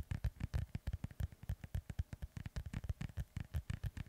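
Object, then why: Inflated synthetic leather soccer ball. Fingertips and nails scratch and rub the panels of a hollow, inflated synthetic leather soccer ball held close to the mic. About 26 quick, dull strokes come in a steady, rapid rhythm. Each is a short, deep thump centered low around 90 Hz, with faint bright scratchy edges, and it dies away almost at once.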